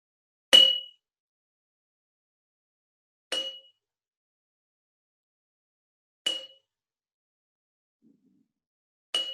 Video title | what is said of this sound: First Steps Science: Fill and Pour, Measure and More! Make a Water Xylophone | they're empty there's nothing in them but they are all the same size little quart canning jars